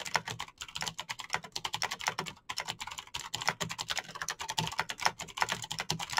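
Fingertips with short nails type fast on a backlit full-size Razer BlackWidow mechanical keyboard with green clicky switches and plastic keycaps. Both hands press keys continuously, making a rapid, dense stream of sharp, bright clicks that stop almost instantly, with a faint low thock under each press.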